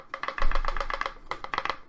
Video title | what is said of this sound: Paul Chen Practical Katana Review | if you shake it, you can hear that it does rattle a little bit